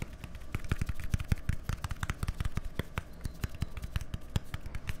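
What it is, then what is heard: Plastic deodorant stick. A small, hollow white plastic deodorant stick with a green cap is held close to microphones and tapped quickly with fingertips and nails. The result is a rapid, steady stream of short, dry taps with a low, hollow thump and bright clicky edges that stop almost instantly.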